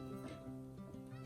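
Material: Nothing is struck.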